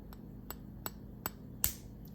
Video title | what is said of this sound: My Daughter Shows Us Her Favorite Egg Salad Recipe #eggsalad #eggsaladrecipe #eggsaladsandwich | you're going to tap it until you hear a pop